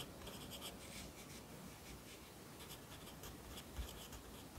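A yellow wooden pencil held in the fingers writes across an open lined paper notebook lying flat on a desk. The graphite scratches on the paper in soft, continuous strokes, with bright, hissy bursts over a low, steady background rumble.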